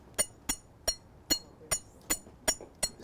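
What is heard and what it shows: Pieces of flint are knocked together eight times, each sharp tap giving a bright, glassy clink that rings briefly, high in pitch. The glass-like sound is because flint is closer in composition to volcanic glass than to ordinary rock or iron ore.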